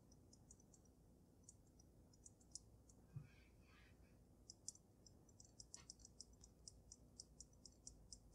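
Fingertips and long nails tap the sides of the glass dome of a water-filled dragon snow globe with glitter. A steady run of quiet, bright, very short clicky taps comes over a low, constant background hiss and rumble, with a brief softer swishing sound in the middle.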